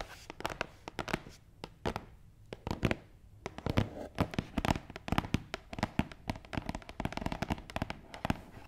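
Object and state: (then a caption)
Cardboard box. A long, hollow, closed black matte cardboard gift box resting on a table is tapped on its top and scratched along its front side with fingernails. The sound is a quick, uneven run of dry, hollow taps with bright, crackly scratching between them. Each tap dies away almost instantly, with no ring.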